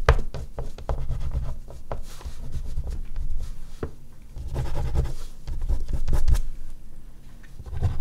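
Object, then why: Oil pastel stick on a sheet of artist's paper over a board. An oil pastel stick is stroked and scratched in fine detail strokes across a large flat sheet of artist's paper on a board, with the hand resting on the paper. The result is a steady, mostly low, dull rubbing texture broken by short scratchy ticks, rising and falling in loudness from stroke to stroke.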